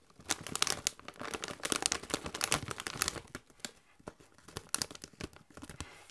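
A Doritos chip bag of metallized plastic, partly full of chips, is crinkled and scratched with long white nails. The result is dense, bright crinkling and sharp crackles in quick uneven bursts, with only a faint low rustle underneath and short pauses between flurries.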